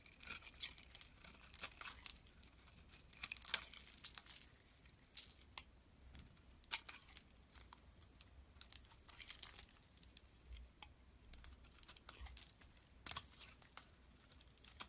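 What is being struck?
Bar of soap.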